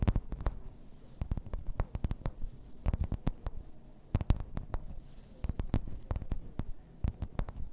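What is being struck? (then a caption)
Thin plastic placemat. Long red-painted nails tap and scratch across a thin, solid, flat grey plastic placemat with raised floral embossing lying on a table. A rapid, uneven run of short, dry taps with bright clicky edges and a soft low thud beneath, each dying away almost at once, with quiet scratchy texture between them.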